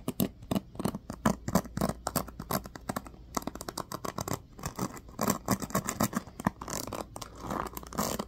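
Fingertips and nails strum and scratch across the dense teal-tipped plastic pins of a small black plastic paddle hairbrush held in the hand. The result is a rapid, uneven run of short, dry scratchy clicks and patters with a bright crackling edge, each one cutting off almost at once.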